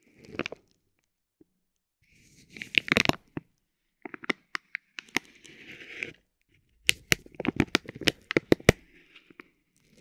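A metal ball-tipped stick taps and scratches a soft, clear vinyl plastic bag wrapped around a roll of tape. Sharp, bright ticks and short crinkling rustles come in uneven bursts separated by brief silences, with very little ring after each contact.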